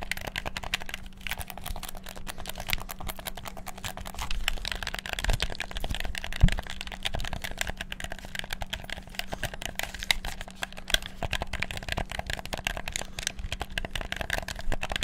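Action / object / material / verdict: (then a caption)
tap / plastic game controller / plastic / none. Fingertips rapidly click the buttons of a black PS4-style plastic gamepad, producing a dense, continuous stream of short, dry plastic clicks over a faint, steady low hum. The clicks stay fast and busy throughout, with a few slightly louder taps standing out.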